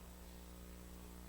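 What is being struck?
Nothing is struck.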